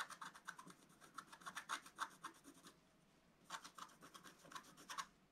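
A wooden stylus scratches the green leaves at the center of a flat scratch art paper sheet with a black coating. Quick, dry scratching strokes come in bright, raspy bursts, pause briefly near the middle, then resume in the same rhythm.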